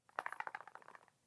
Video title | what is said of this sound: NEW Lattafa Asad Bourbon FIRST IMPRESSIONS | it's not in there snugly so it just kind of rattles a little bit and it sounds cheap